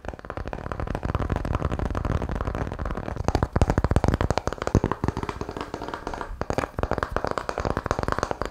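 A palm-sized, apparently solid round disc of light wood with a ridged, grooved surface is held in both hands close to the microphone and tapped and scratched across its ridges with the fingertips. The result is a rapid, continuous stream of short, dry, low-heavy taps mixed with soft scraping, and the taps grow louder and more spaced out midway through.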